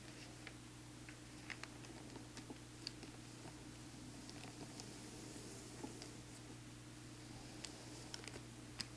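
Fingertips and a black marker trace over the thin pages of an open newsprint newspaper on a table, with one page curled up, and tap on it. Quiet soft scratching and rustling runs throughout over a steady low hum, broken by short, bright, dry taps scattered across the clip.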